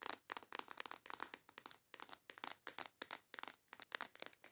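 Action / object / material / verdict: tap / small clear plastic box holding plastic nail tips / plastic / none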